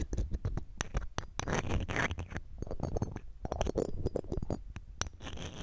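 A red-gem ring in a metal setting, held in metal tweezers, scrapes across the round metal mesh grille of a silver condenser microphone. The result is a dense run of close, dry scratching and ticking with a heavy low rumble and faint bright metallic glints. The hits are packed too tightly to count.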